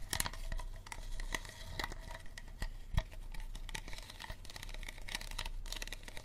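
Fingernails tap and scratch the ridged sides of a small, empty, clear unlabeled plastic water bottle with a green cap, making quick hollow clicks and dry crinkly scrapes. The sound stays close and dense throughout, with a sharper knock near the three-second mark.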